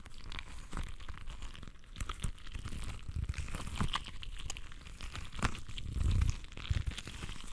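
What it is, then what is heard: Rubber stress ball filled with water beads. A soft, full, translucent rubber stress ball filled with water beads is squeezed and rubbed between both hands with the fingertips. It makes a dense stream of sticky, crackling squelches and crinkly crunches over a heavy low rumble, with a deeper squishing swell near the end.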